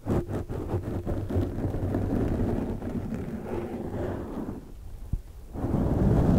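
Long dark nails scratch the sides and top of a large black foam windscreen on a microphone. The result is a dense, muffled, low rumbling scrape with quick rhythmic strokes at the start, a brief quiet dip with a sharp tap near the end, then the rumble swells again.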